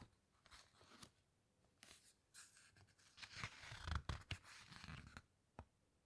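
Fingertips press and rub the glossy coated pages of an open hardcover book, then turn a page. Soft, dry rustles and papery scrapes build into a louder crinkling flutter with low thumps as the page is lifted and turned, ending with a single quiet tap.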